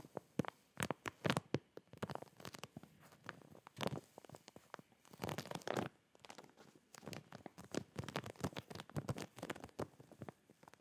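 A clear plastic zip packaging bag filled with folded fabric boxers is turned in the hands while nails and fingertips tap and scratch its plastic surface. Quiet crinkling and rustling are broken by many sharp, quick taps and scratchy bursts, with soft low thuds underneath and brief pauses between clusters.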